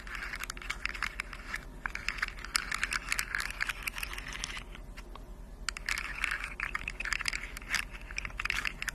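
A hand-sized rainbow plastic fidget slug with hollow jointed segments is scratched and tapped along its segments by long decorated acrylic nails. The nails click the segments together in a dense run of quick, dry, bright clicks and scratchy rasps. The sound pauses briefly around the middle, with a faint low hum underneath.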